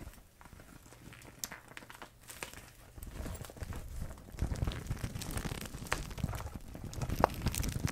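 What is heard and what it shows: A transparent vinyl zip pouch full of paint tubes is squeezed, crinkled and tilted in both hands with long red nails. Soft, irregular crinkling and plastic rustling come with dull knocks of the tubes shifting inside, growing louder and busier in the second half.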